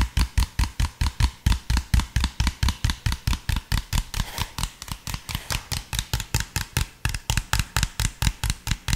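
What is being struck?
Plastic soda bottle.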